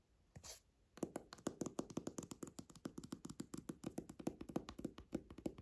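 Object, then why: Old hardcover book with leather cover. Fingernails and fingertips tap and scratch the dark leather cover of a small, closed antique hardcover book with a gold embossed ornament. A brief soft scratchy brush comes first, then a quick, uneven run of dull, muted taps with a low-mid knock and almost no ring.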